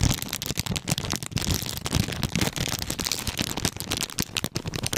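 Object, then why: Plastic snack cake wrapper. A clear and printed plastic-wrapped snack cake package is held in both hands while fingertips squeeze, crinkle and scratch the plastic wrapper. The result is a continuous run of dense, crisp crackles and rustles, with bright hiss on top and soft low thumps underneath.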